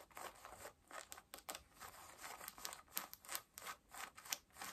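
Long nails scratch at the waistband and button of worn pale yellow cotton denim jeans. The result is a quiet, rapid, uneven series of dry, bright, rasping strokes with almost no low end.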